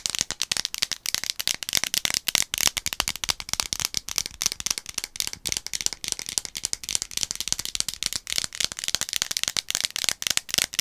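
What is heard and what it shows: Long acrylic nails tap and scratch a medium, orange-capped plastic One A Day gummy vitamin bottle held in both hands, a hollow bottle partly full of gummies, with some shaking that rattles the gummies inside. The sound is a rapid, continuous stream of dry, bright clicks and scrapes, almost entirely high in pitch with barely any low end. Each tick dies away instantly.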